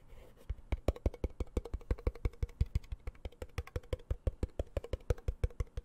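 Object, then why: Small round metal tin. Fingertips and nails tap and scratch the lid of a small, round, hollow blue metal tin held at the microphone. Dozens of quick, uneven taps land at about three per second. Each is a short, dry click with a soft low thump and a faint hollow tone, over a light scratchy hiss.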